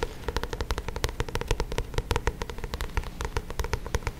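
Fingertips and nails tap and scratch the glossy card cover of a paperback copy of "How to Win Friends & Influence People," held in both hands close to the mic. Dozens of quick, dry taps come in an uneven stream, each with a soft low thump and a bright clicky edge. They die away almost instantly, with faint scratching between them.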